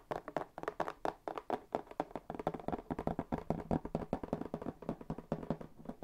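A hollow, medium brown corrugated cardboard box is held close to the microphone and tapped with fingertips on its flat faces. A quick, uneven stream of soft, dull, hollow thuds follows, with a low-mid body and almost no ring after each tap.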